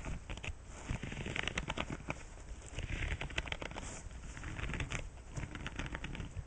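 Fingertips with painted nails strum, scratch and flick across the many soft nubs and bristles of a flat bright-green silicone scrubbing pad lying on a white cloth backing on a wooden table. The result is a steady stream of dense, crackly scratching with rapid soft ticks and brighter flicks over a low, muffled undertone, running throughout without pause.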